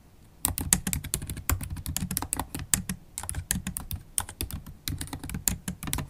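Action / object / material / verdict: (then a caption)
tap / plastic laptop keyboard keys / plastic / none. Long holographic acrylic nails and fingertips type continuously on the black plastic keys of a MacBook Pro keyboard set in an aluminium body. After a brief quiet start, a fast, steady stream of short, crisp clicks and taps follows, each with a low thud and a bright tick that die away almost at once.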